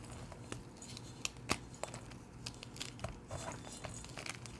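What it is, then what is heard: Gym chalk blocks crumbled by hand. Bare fingertips with short painted nails squeeze, crush and crumble broken blocks of dyed blue gym chalk, solid and powdery, heaped in a metal bowl. Dry, bright crunches and crackles come in quick bursts over a low steady background. The crumbs fall back onto the pile with soft, short patters.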